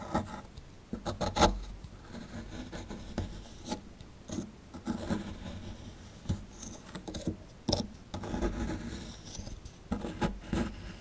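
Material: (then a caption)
Plaster. A plastic chisel scratches and chips at a solid plaster excavation block held in the hand, digging around a dinosaur tail. Dry, raspy scraping comes in short bursts with sharp chipping clicks and brief bright crackles over a soft, low rubbing background.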